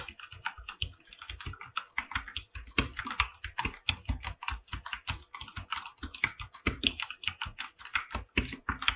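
Fingertips type continuously on a full-size mechanical keyboard with an aluminum body and white and light-blue PBT plastic keycaps. A rapid, uneven stream of short, crisp keystrokes, each with a bright clack and a soft low thock, dies away almost instantly. A few louder strikes stand out from the steady patter.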